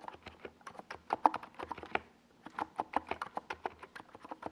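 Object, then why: Plastic mechanical keyboard. Fingertips type continuously on a NiZ Plum Atom 68, a small 68-key mechanical keyboard with a white plastic case and purple and yellow Domikey Gas Attack plastic SA keycaps, resting on a desk pad. About 24 quick, dry key clacks centered around 870 Hz die away almost instantly, with a brief lull just after the two-second mark before the typing picks back up.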